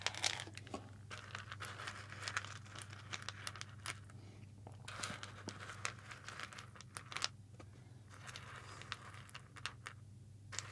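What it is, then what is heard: Roasted coffee beans stirred on a ceramic plate. Fingertips rub and stir a layer of whole roasted coffee beans on a white ceramic plate held up close. The result is a dense, continuous run of bright, dry crinkling and crunching clicks with sharp individual ticks. A steady low hum runs underneath the whole time.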